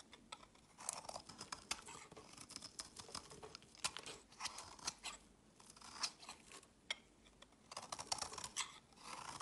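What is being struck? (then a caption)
Bar of soap. A solid pink and white striped bar of soap, held in the fingers, is scraped and cut with a utility blade, leaving shavings on a woven mat. Quiet, crisp, bright scraping and slicing come in uneven bursts of short rasps and clicks, with almost no low end and no ringing after each stroke.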